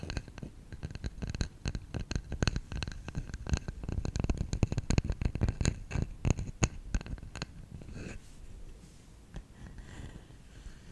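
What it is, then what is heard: Bamboo salt container. Fingertips tap rapidly and irregularly on the sides and lid of a hollow, round, lidded bamboo salt container held in both hands. The taps make quick, dry, hollow knocks with a low body and bright clicky edges, and each dies away almost at once. After about eight seconds the tapping gives way to a quieter, softer rustling.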